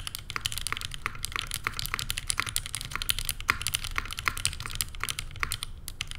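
Fast two-handed typing with the fingertips and long painted nails on a Neo87 by CherryB Works, a tenkeyless mechanical keyboard with a rose-gold aluminum case, cream and grey plastic keycaps, and JWK Lilac switches. The result is a rapid, steady stream of short, bright clacks that die away almost instantly, over a faint low rumble.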